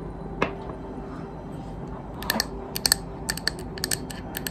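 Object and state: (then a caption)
Wax-filled glass candle jar. A medium white opaque glass candle jar, filled with solid wax and unlit, is held in one hand and tapped on its side with long green acrylic nails. Short, bright clicking taps with a high glassy ping come in an irregular rhythm, sparse at first and then in quicker clusters over a low, steady background hum.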